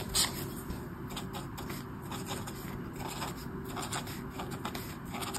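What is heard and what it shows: A marker tip scratches and rubs across a flat sheet of white paper in a colouring book with an orange mandala while colouring. Steady scratchy rubbing strokes come in soft bright bursts over a constant low background hum, with one sharper scratch near the start.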